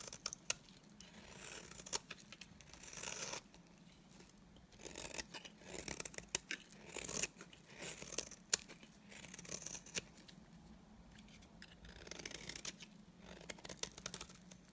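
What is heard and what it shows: A solid, dry white bar of soap has its edge and face shaved with a utility knife blade. The shaving gives a quiet, bright, crisp scraping and crackling sound in repeated strokes, with short sharp ticks between them.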